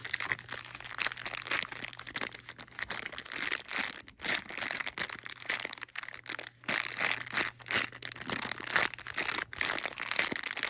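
A small sealed clear plastic bag holding green and teal plastic wall clips and a cardboard backing card is held in hand, squeezed and rubbed with fingertips and long painted nails. The result is dense, bright crinkling and crackling in quick bursts with brief pauses, over a faint steady low hum.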